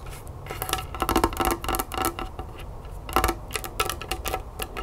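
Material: Plastic.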